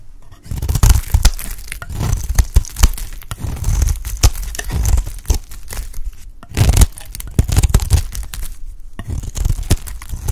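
A utility knife blade shaves a light green solid bar of dry soap held in the hand into crumbly flakes. The clip is a steady run of dry scraping and many sharp, crackling crunches with short pauses between strokes, heavy in low rumble with brief bright clicks.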